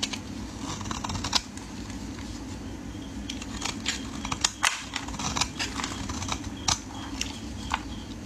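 A metal blade shaves thin strips off a solid orange bar of soap held in hands wearing pink finger cots. Crisp, bright scraping and short cutting snaps come in irregular bursts over a steady low hum, with a few sharper, louder cuts standing out.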